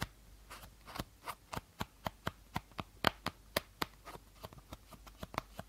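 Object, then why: Clear plastic bottle. Fingertips and nails tap the body of an empty, hollow clear plastic bottle with a teal cap. The result is a quick series of short, dry, clicky taps with a hollow plastic knock around 1.5 kHz and no lingering ring.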